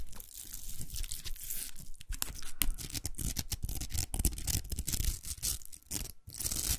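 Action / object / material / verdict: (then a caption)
scrape / plastic hair roller with velcro hook surface / plastic / none. Long acrylic nails scratch and tap the velcro hook surface of a large, hollow, empty pink plastic hair roller. The result is a dense run of rough, tearing rasps and quick, dry taps, with bright crackle over soft low thumps that stop almost instantly.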